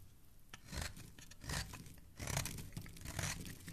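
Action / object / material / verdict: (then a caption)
scrape / bar of soap scraped with a metal blade / soap / none. A metal blade scrapes shavings off the surface of a solid blue oval bar of soap held in a hand with painted nails. Dry, crisp scraping and crunching strokes come in uneven bursts, with a bright rasp over a soft low body, and each stroke stops quickly.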